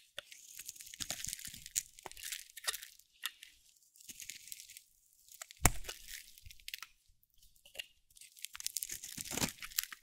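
A metal blade scrapes and carves strips off the face of a solid cream-white dry soap bar with a teal edge. The sound comes in short bursts of crisp, bright scraping and crunchy tearing, with quiet gaps between strokes and one sharper crack partway through.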